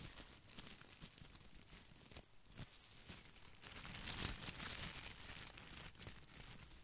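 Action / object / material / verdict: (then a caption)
scrape / plastic artificial boxwood ball / plastic / none. A plastic artificial boxwood topiary ball is held beside the mic while its leaves are scratched and rubbed with fingertips. A dense, crinkly scratching and crackling runs throughout, bright and papery with a light low rumble underneath. It swells louder and brighter toward the middle before settling back.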